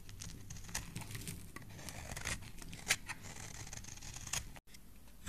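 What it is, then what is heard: Bar of soap being shaved. A solid oval cream-colored soap bar held in hand is shaved with a black utility knife blade into white strands, producing a steady run of quiet, crisp scraping and cutting strokes. The scrapes are bright with a low rumble underneath, broken by a few sharper slices and a brief silent gap near the end.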